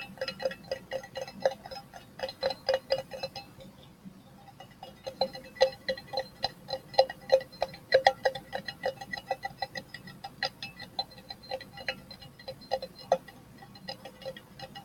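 An empty, open, cylindrical metal tin can with a green label is held up and tapped on its outer wall with fingertips and nails. The result is a rapid, irregular run of short, dry, ringing taps with a hollow tone around 500–800 Hz and bright metallic edges. The taps pause briefly near four seconds, then resume unevenly to the end.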